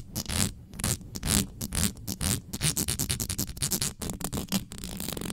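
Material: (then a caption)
Metal mesh. Long nails scratch fast over the hollow metal mesh head of an uncovered black condenser microphone, with hands sweeping across the grille. The result is a rapid, irregular run of bright, raspy scratching bursts over a dense low rumbling thump, each stroke cutting off quickly.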